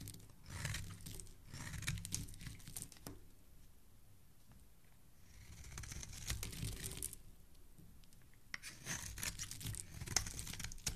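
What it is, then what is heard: Bar soap being shaved. A solid orange bar of soap, held in the hand, is shaved with a utility knife blade, and the shavings fall onto a wooden surface. Dry, crinkly scraping strokes come in bursts with bright, crisp edges over a low rumble. The quieter pauses fall around the middle of the clip before the shaving picks up again.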